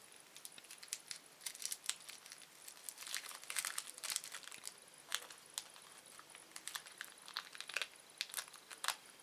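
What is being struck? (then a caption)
Thin plastic candy wrapper. A small, thin, empty red-orange printed plastic candy wrapper is twisted, stretched and crushed between the fingertips of both hands. It makes quiet, bright, dry crinkling with a steady stream of sharp crackles and snaps, with no low end and almost no ring after each crackle.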